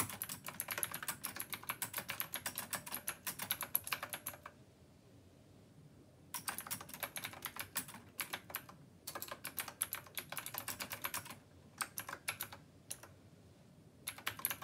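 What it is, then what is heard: Mechanical keyboard typing. Continuous two-handed fingertip typing on a black plastic Rymek retro mechanical keyboard with round copper keycaps. Bright, rapid clicky key strikes come in bursts, with short quiet pauses around 4.5–6.3 seconds and near 11.5–14 seconds.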